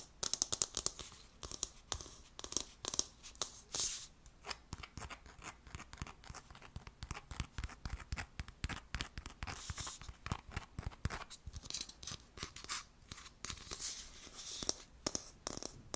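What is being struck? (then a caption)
Hollow plastic terrarium sphere. Fingertips and nails scratch and tap a hand-sized, hollow clear plastic Poké Ball terrarium with a white base and green and yellow decorative plants inside its clear plastic top, held close to the microphone. The result is a dense run of crisp, bright clicks and raspy scratches with very short decay and little low end.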